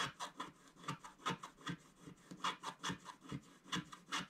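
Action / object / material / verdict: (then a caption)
scrape / wax-coated scratch-art paper card / wax-coated paper / none. A thin wooden stylus held in the fingertips scratches the black wax coating off a flat scratch-art page of colored paper lying on a table, leaving scraped black flakes around it. About fifteen short, dry scraping strokes come in an uneven rhythm, each a raspy burst centered near 1 kHz with a bright hiss above and a faint low thump.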